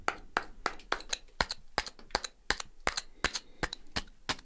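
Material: Silicified sandstone.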